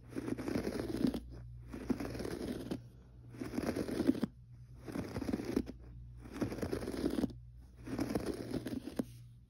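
Fingertips of both hands scratch the pile of a gray textured carpet on the floor in six separate bursts of soft, dry rasping, with short quiet pauses between them. The scratching is dull and centered in the low-mids, with a faint bright edge, over a steady low hum.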